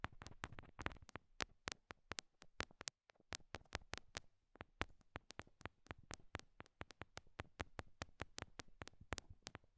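Long nail tips tap small, solid pink rhinestone heart stickers stuck on the silicone ears of a binaural microphone. The result is a quiet, rapid stream of sharp, dry clicks with bright highs and a soft low thump under each. A brief pause falls near the three-second mark before the tapping resumes.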